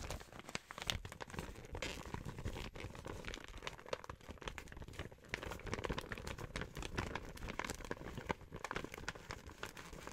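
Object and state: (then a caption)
Plastic gift bag crinkled. An empty pink printed plastic gift bag with grey handles is squeezed and crinkled by hands and fingertips while nails scratch across it. The result is dense, continuous crackling and rustling with sharp bright crinkles and soft scraping, with no pauses between sounds.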